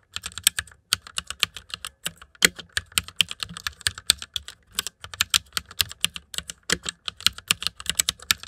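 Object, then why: Plastic mechanical computer keyboard. Fingertips of both hands type on the keycaps of a white plastic mechanical computer keyboard, producing about 48 sharp, bright clicks in quick, uneven bursts separated by short pauses. Each keystroke is crisp and dry with almost no ring and very little low end.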